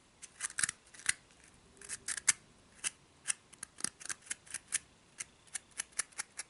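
Long nails scratch along the pleated side walls of a small, hollow, empty orange-striped pleated paper cupcake liner, giving quiet, crisp, bright scratchy rasps. The short strokes come in an irregular series of about 19, each dying away almost at once.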